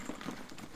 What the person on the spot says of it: you can definitely hear the water